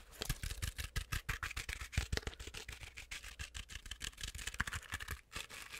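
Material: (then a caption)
Plush fabric. Long acrylic nails scratch aggressively at a medium stuffed penguin toy made of fuzzy, sparkly plush fabric. Fast, irregular bursts of bright, raspy fabric scratching run throughout, each backed by soft, low thumps. They stop and start unpredictably, with only brief gaps between them.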